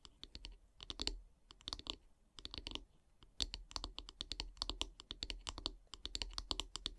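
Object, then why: Wooden bristle-brush handle. Long painted nails tap along the solid wooden handle of a bristle brush. The result is quick bursts of short, dry, bright clicks with brief pauses between runs, each tap dying away almost instantly, with a faint low hum underneath.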